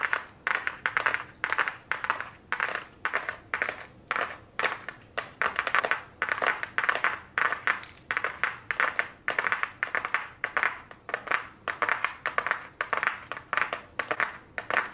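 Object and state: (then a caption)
Cardboard makeup palette box. Very long blue nails tap and scratch across the surface of a small, flat, white cardboard eyeshadow palette box held in the hands. Quick, dry, papery clicks and brief scratchy bursts repeat in a steady rhythm for the whole clip. Each one is centered in the midrange with some bright edge, and dies away almost instantly with no low end.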